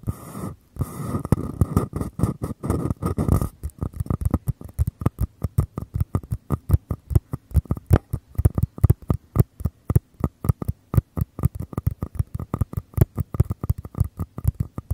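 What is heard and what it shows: Fingertips scratch and tap the walls of two identical small, empty paper cups held upside-down near the mics. A dense, hollow scratching rustle for the first few seconds gives way to a long run of quick, dry, low taps that stop short with no ring.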